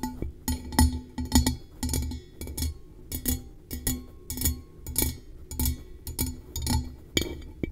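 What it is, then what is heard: Metal tumbler. A blue-coated hollow metal tumbler, held over the microphone, is tapped with long nails in a loose, uneven series of quick taps. Each tap gives a bright clicky attack over a low, hollow thump, with almost no ringing after.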